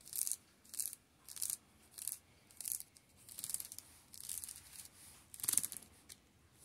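Fingertips tap and rub along the spines of a row of plastic-shrink-wrapped paperback manga. The result is a series of quick, typing-like bursts of crisp, high crinkling and scratching, separated by near-silence, with almost no low end.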